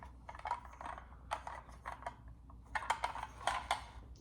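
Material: Metal.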